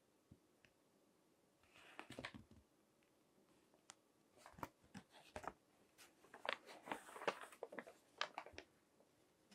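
Fingertips with long nails turn and crinkle the pages of a thick, crinkled glossy paper magazine resting on a table. Quiet, sharp crackles and bright rustling bursts come in irregular clusters over a faint steady hiss, each crinkle dying away almost instantly.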